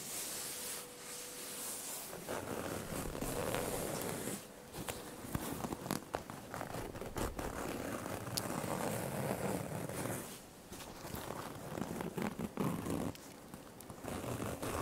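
A worn red and black plaid cotton flannel shirt, a thin, soft cloth, is held and scratched with long nails and fingertips close to the microphones. The result is a continuous, dry scratching and rustling at medium to fast speed with bright fabric hiss, easing briefly into quieter stretches before the scratching picks up again.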